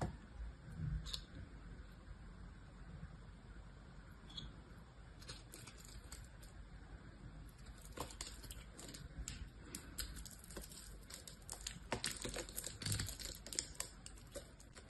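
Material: Soap.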